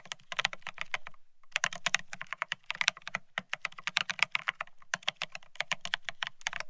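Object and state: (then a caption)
Mechanical keyboard with ceramic keycaps. Both hands type rapidly with their fingertips on a Bear65 mechanical keyboard fitted with blank white matte ceramic (Cerakey) keycaps on a steel plate, resting on white cloth. A dense run of short, bright, clacky keystrokes stops dead after each press, with a faint low thud beneath. The typing pauses briefly just after the first second, then resumes in quick bursts.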